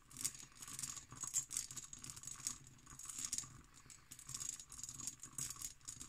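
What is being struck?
Cut glass decanter.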